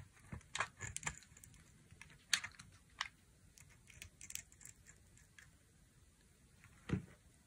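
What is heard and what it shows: A dry, solid pink bar soap with a brown coating is held in the hand and shaved and sliced with a utility knife blade. About a dozen crisp, bright scraping and clicking cuts come in short bursts with quiet pauses between them. The clip ends with one last louder cut.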